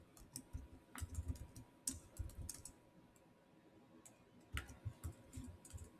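Two hands type fast with bare, short-nailed fingertips on the black plastic chiclet keys of a silver Samsung laptop keyboard. Soft, low-thudding clicks with brief bright ticks come in quick bursts, separated by a short quiet pause in the middle.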